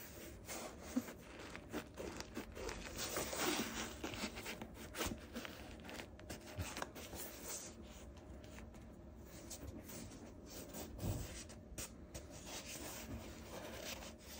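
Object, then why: Synthetic textile basketball shoe upper. A colourful LaMelo Ball 03 basketball shoe with a synthetic textile upper and a rubber and foam sole is held in the hands while fingertips rub and scratch along the side of the upper; the second shoe of the pair sits untouched nearby. The result is a quiet, continuous, dry scratching and rustling texture with a bright hiss and small uneven scuffing peaks that stop without any ring.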